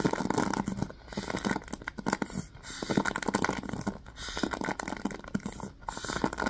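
Fingertips and nails tap and scratch the wooden back and the bristles of a handheld wooden paddle hairbrush with a black cushion and pins. The result is a dense, dry stream of quick taps and crackly, rustling scratches, mostly in the low-mid range, coming in bursts separated by brief quieter pauses.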